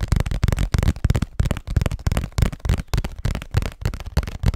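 A hollow cardboard Scotties tissue box, held close to the mic, is tapped and scratched with fingernails. Quick, irregular taps land as low, boomy thuds that stop almost instantly, with soft scratching between them.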